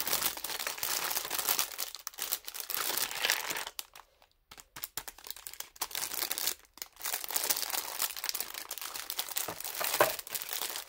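A thin clear plastic film bag holding toy makeup pieces is held in both hands while the fingers crinkle and squeeze it in place. The result is a dense, bright crackling and crinkling that stops briefly around four seconds and again near seven seconds, then picks up again.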